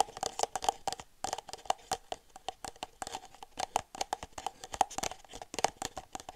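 An empty red disposable plastic party cup, hollow and thin-walled, is tapped and squeezed with long silver nails. The result is a rapid, uneven stream of light clicks and crinkly plastic crackles. Each tap carries a faint tone near 770 Hz that dies away almost instantly.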